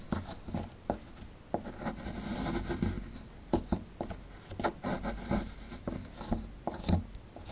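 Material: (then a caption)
Plaster. A metal pick digs and scrapes into the cavity of a solid plaster fossil dig block held in the hand, making dry scratching and gritty crunching as the plaster crumbles. Repeated sharp clicks and scrapes come through over a low rumble, mostly low and mid in tone.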